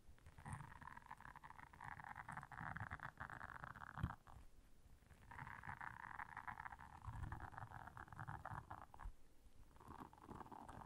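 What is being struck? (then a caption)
Silicone bristle scrubber pad. Long nails scratch across the bristle surface of a round blue silicone scrubber pad lying flat. The result is a soft, dense, rasping scratch with a muffled low rumble underneath, coming in sustained passes separated by two brief pauses.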